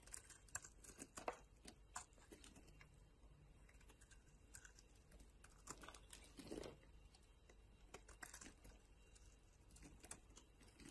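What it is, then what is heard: Bar soap being shaved. A metal utility knife blade shaves the edge of a solid green soap bar held in the palm, cutting it into crumbly flakes. The result is a quiet, steady run of short, crisp scraping crackles and bright ticks, with a few louder snaps scattered throughout.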